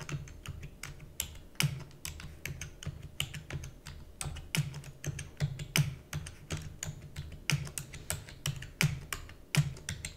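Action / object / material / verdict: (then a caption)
tap / plastic computer keyboard / plastic / none. Fingertips with long natural nails rapidly type on a black full-size plastic computer keyboard with hollow key housing. A dense, uneven stream of quick, bright clacks rides over a low, hollow thump from each keystroke, and every tap dies away almost instantly.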